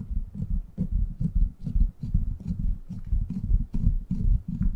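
Fingertips tap and scratch the hollow, rounded steel mesh grille of a silver microphone. The result is a run of deep, muffled thumps at an uneven, fairly quick pace. Each thump dies away almost at once, with faint scratchy rustle between them.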